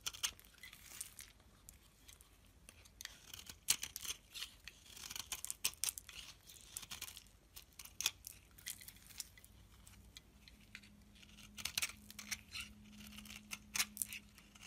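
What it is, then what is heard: Soap bar scraped with a blade. A metal blade scrapes a solid white soap bar held in the hand, raising flakes on the bar. Quiet, bright, crisp scraping and crackling bursts come in irregular clusters throughout. A faint steady low hum enters in the second half.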